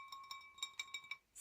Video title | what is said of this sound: Collection of oddities - Blue glass edition | sounds like ceramic but as you can see it's really not it's glass